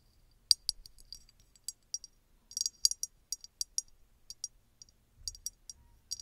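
Long red nails tap and scratch a small, hollow red glass bottle with an embossed pattern that appears empty. The result is a quiet, irregular series of sharp, bright clicks and clinks that die away almost instantly, with faint scratching between them and almost no low end.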